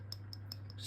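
Five light taps on the flat mineral crystal of a replica Longines Perpetual Calendar Moonphase automatic watch give short, bright clicks over a steady low hum. The crystal sounds hollow, unlike the domed sapphire crystal of the authentic watch, marking it as fake.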